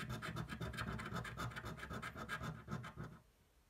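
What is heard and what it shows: A thin, flat cardboard scratch-off lottery ticket, held flat on a table, is scratched rapidly with the edge of a coin. It makes a quick run of rough, rasping strokes with a heavy low body. The scratching stops abruptly near the end and fades into near silence.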